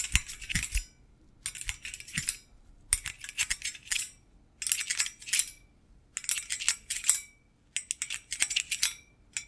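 A hollow stainless-steel wire basket is held and tilted while metal-thimbled fingertips tap and scratch its wire bars. Bursts of bright, rapid metallic clinks and scrapes come in clusters, separated by short quiet pauses. Each tap is sharp, with almost no ring.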